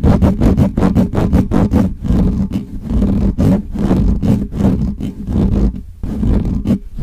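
Fingernails from both hands scratch rapidly across the top of the hollow metal mesh grille on a black Blue Yeti microphone. The result is a fast, uneven run of rough, scraping bursts that are heavy in low rumble with bright, crackly edges. A steady low tone sits underneath throughout.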